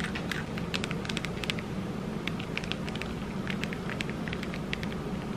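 A small hand-held disco ball Christmas ornament, covered in little square mirror tiles with a hanging cap on top, is held in both hands and tapped and scratched with long red acrylic nails. Many quick, bright clicks and ticks scatter over a steady low, rustling bed of noise, producing a continuous crackly texture.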